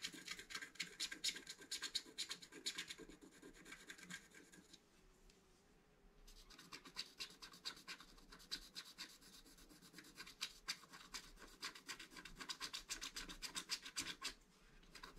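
A wooden stylus scratches the coating of a flat, black-coated scratch art card in its upper right area with repeated strokes. The scratching is a dense run of bright, high, dry rasps that stops briefly around the middle and then resumes.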